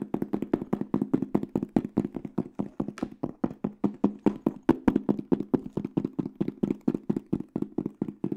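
A small, flat, hollow hard case with a black panel and silver aluminum edges is held up close and rapidly tapped and knocked with fingertips and nails. Fast, uneven knocks (about 54 over eight seconds) land on a hollow, boxy tone around 260 Hz. Each knock is dry and dies away almost instantly.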